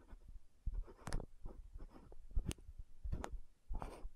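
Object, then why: Frosted plastic lotion bottle with metal cap. Long nails tap, scratch and twist the gold metallic cap of an orange-red frosted plastic lotion bottle. Soft, dry clicks and brief scraping rustles sound quietly and close up, with dull low thumps underneath and no ring after each touch.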